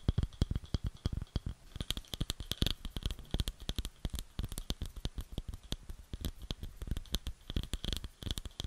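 Long nails tap and scratch the base of a round, light wooden bowl that is hollow and empty. Quick, irregular taps land one after another with a dull, low thud, and a thin, bright scratchy rasp runs between them. Each tap dies away almost at once.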